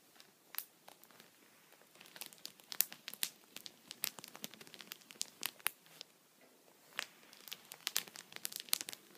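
The tip of an upright wooden pencil taps a thin, clear plastic sheet protector (a punched pocket) lying flat on a towel. A quick, irregular run of sharp, bright crinkly ticks follows, each dying away almost instantly, with no low end beneath them.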